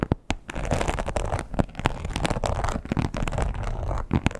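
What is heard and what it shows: Long pointed nails scratch the textured surface of a red croc-embossed leather wallet lying flat. The result is a dense, low, rumbling scrape broken by sharp, quick ticks, with little high-end brightness and only brief dips in loudness.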